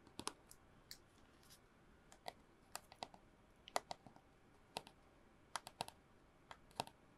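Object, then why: Cardboard mailing tube. Long nails tap a long, hollow brown cardboard mailing tube with bits of red tape, held upright. About twenty quick, irregular taps come through as short, dry clicks with a hollow midrange tone near 700 Hz and a bright edge. Each dies away almost instantly against a quiet background.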